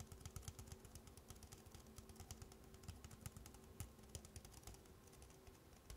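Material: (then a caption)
Plastic. Long black-painted nails tap and scratch the side wall of a red plastic party cup, apparently two stacked, held on its side, hollow and empty. Quick, light taps with dull, hollow low thumps and bright clicky edges mix with soft scraping. The hits die away almost instantly, all at a quiet level.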